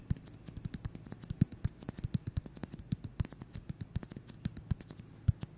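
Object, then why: Styrofoam ball. A solid white styrofoam ball about 8 cm across, held in the hands, is tapped and scratched with fingertips and short nails. Dozens of quick, dry taps and scratchy clicks come in an irregular, steady stream, each with a soft low thump and a thin bright crackle that dies away at once.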